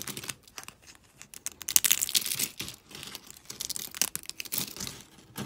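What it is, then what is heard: Dry soap flakes, crunching. Thin, brittle pink, teal and green dry soap shards are snapped and crumbled between fingers with long pink nails. Quick, dry, bright crackles and crunches come in irregular bursts, with sharp snaps over a faint hiss and almost no low end.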